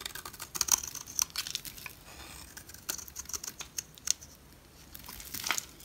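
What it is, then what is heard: Bar soap being carved. A utility knife blade scrapes and carves flaky shavings from a solid, palm-sized orange Smyrna bar soap held in the hand. The result is a rapid series of crisp, dry, high-pitched crackles and ticks with brief raspy scrapes and almost no low end.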